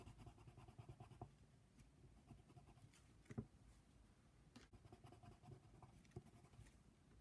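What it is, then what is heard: Pencil coloring on paper. A hand colors a giraffe's mane with a brown colored pencil on a paper coloring book page lying flat. Quiet, steady scratching of pencil lead on paper continues throughout, with a few slightly louder strokes standing out. The sound stays soft and low-weighted, with very little bright content.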